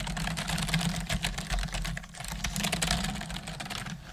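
Both hands with long nails type on a black plastic desktop computer keyboard with hollow keys. Irregular, rapid clicky taps with a hollow plastic sound and bright edges run throughout, over a steady low hum.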